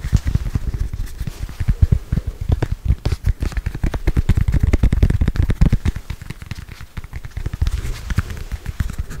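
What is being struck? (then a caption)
Small foam stress ball. A small, solid red-and-black soccer-pattern foam stress ball, held in both hands, is tapped and scratched with long acrylic nails. The result is a fast, continuous run of dull, low, muffled taps with brief scratchy textures and no ring.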